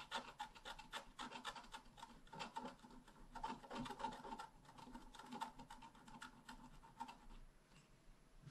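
A wooden stylus tip scratches a flat, black wax-coated scratch-art card about A5 size, a solid thin card resting on a table. Quick, irregular rasping strokes follow one another closely, with a dry scraping texture and a faint tonal edge in the mids, growing quieter toward the end.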